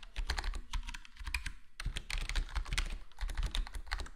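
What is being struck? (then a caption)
Plastic computer keyboard with foam-dampened case. Fingertips of both hands type on a full-size black plastic HyperX Alloy Core gaming keyboard with square plastic keycaps and a foam-mod, foam-dampened case. The result is a fast, steady stream of soft, muffled key clicks and taps with a deep low thump under each press and a crisp high tick on top. Each keystroke dies away quickly.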